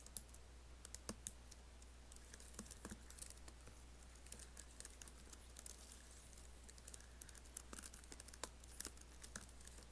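Fingertips tap and type on an Apple laptop keyboard with black plastic keys and an aluminium body. Quiet, rapid, dry clicks with bright tops and no ring rattle out in uneven bursts over a steady low hum.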